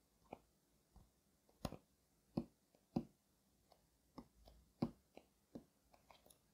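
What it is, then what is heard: Cardboard box tapped. Fingers tap on the cardboard shipping box of a doll suit. There are 13 quiet, dull, short thuds at an uneven, unhurried pace, with a hollow low-mid body and almost no ring after each tap.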